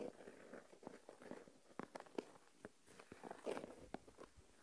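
Fingertips and nails scratch and stir coarse white salt crystals in an open small plastic tub full of salt. The result is quiet, dry, gritty crackling with sharp little clicks and crunches rising out of a steady rustle, mostly mid-pitched with brief bright ticks.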